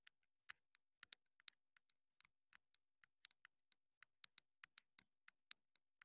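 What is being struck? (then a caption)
Small plastic wireless microphone. Long pointed nails scratch and tap the top and sides of a small black plastic wireless mini microphone with a hollow body. The result is a quiet, irregular run of sharp, dry ticking clicks, bright and high with almost no low end, each dying away instantly, about 25 across the clip.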